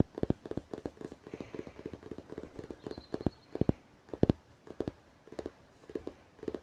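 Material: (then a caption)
Cardboard and paper. Fingers tap on a book, making dense, quick, dry taps with light scratching between them. The taps are short and soft with little ring, mostly in the low-mid range, and a few land harder than the rest.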